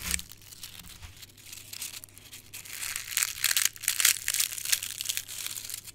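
A dried rose head with dark red, brittle petals is picked up and crushed in a closed fist with the fingertips, its fragments falling onto a heap of crushed petals. Dry, bright crackling and crinkling comes in dense, irregular bursts with almost no low end, growing louder and sharper in the second half.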